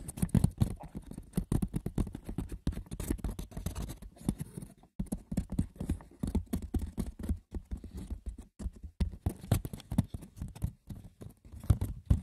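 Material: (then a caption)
Wicker. Fingers scratch and tap the textured woven surface of a wicker basket, with no talking. A dense, continuous patter of light, dry clicks, scuffs and scratches follows for about 12 seconds. The sound is dull and low-heavy, with each tap dying away almost at once.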